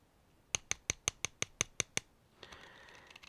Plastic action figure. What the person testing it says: it does feel kind of hollow on there